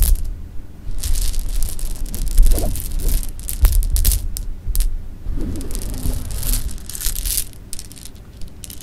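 A pile of small, solid sugar-coated jelly beans rests on fabric while a hand with long painted nails scoops, drops and rubs them. The beans click and rustle in dense, irregular bursts, with bright crackling detail over a low rumble.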